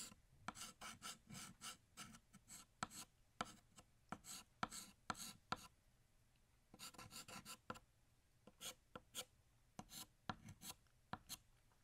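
A blue chalk stick held in the fingertips draws lines across a large, flat, solid black chalkboard. Short, dry, rasping scratches come in quick bursts with a bright, gritty edge and no ring. There is a brief pause near the middle before the strokes resume.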